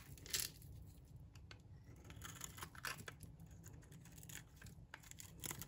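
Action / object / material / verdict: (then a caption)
scrape / bar of soap shaved with a metal blade / soap / none. A metal blade shaves curls off the surface of a solid, dry green oval bar of soap. The result is a string of crisp, bright scraping and crackling strokes over a low background rumble, with the loudest burst near the start and another near the end.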